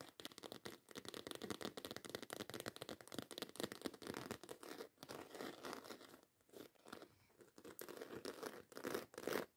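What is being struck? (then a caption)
Embossed faux leather handbag. Long white acrylic nails rapidly scratch and tap on a black croc-embossed faux leather handbag with a zipper top. The result is a dense, fast stream of dry, crinkly scratches and soft clicks, centered in the midrange with little low end. Brief quieter gaps break the rhythm midway.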